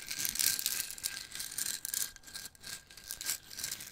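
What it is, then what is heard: Toothpick jar shaken. A small clear plastic jar with a white cap, full of wooden toothpicks, is held in both hands and shaken and tilted. The toothpicks rattle inside in quick, uneven bursts of bright, high-pitched clicking and rustling, with a faint steady tone near 1.6 kHz underneath.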